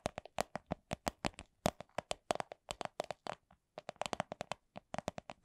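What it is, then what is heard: Clear vinyl coin purse. Long nails tap a small, hollow, soft clear vinyl/PVC coin purse printed with a Miffy design, giving 35 quick, dry taps that each carry a faint hollow tone around 630 Hz. The taps come in a steady, fairly fast stream with a short pause midway, then resume at the same pace.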